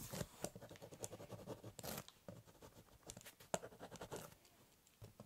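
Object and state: Pen scribbling on cardboard.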